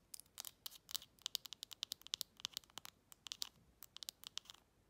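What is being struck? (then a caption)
Metal lid on a glass jar. Long red acrylic nails tap and scratch the flat top of a shiny silver metal lid with an embossed logo, fitted on a textured glass jar held upright. About 28 quick, dry clicks land in a fast, uneven run, with short scratchy scrapes between them. The sound is almost entirely bright, with a tinny ring near 3.8 kHz and no low-end body.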